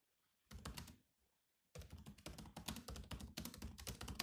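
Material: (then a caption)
Plastic. Bare fingertips type on the black plastic keys of a grey laptop, tapping out a short burst of clicks, a brief pause, then a steady run of rapid keystrokes. Each key gives a quick, dry clack with a soft low thump under a bright click, dying away almost instantly.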